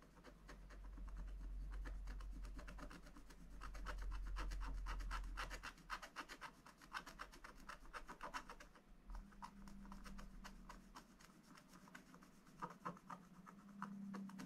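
A wooden stylus scratches the upper right corner of a black-coated scratch-art paper page in a spiral book, removing the coating to reveal colour. The result is a quick, fairly steady run of dry rasping strokes, about four per second, over a low hum that is louder in the first half.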